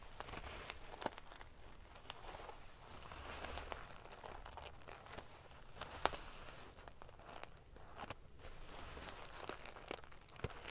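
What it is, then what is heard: Metal sequin pillow being scratched. Long painted fingernails scratch and ruffle a large decorative pillow covered in rows of small silver metal sequins sewn onto fabric. The result is a quiet, continuous crinkling, prickly rustle with a bright hiss. Sharp clicking snaps of the metal pieces stand out through it.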